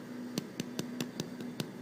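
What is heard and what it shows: Seven quick, hollow knocks on the bottom of a freshly baked sourdough loaf, each a short dull thud with a low tone. The hollow sound shows the bread is baked through and done; it is still too hot to cut open.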